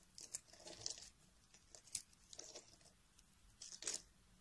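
A metal blade carves chunks and flakes off the edge of a solid pale peach bar of soap held by fingers with dark nails. The result is a series of short, crisp, bright crunching and scraping bursts with little low end and almost no ring, separated by quiet pauses.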